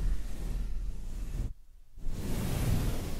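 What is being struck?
Nothing is struck.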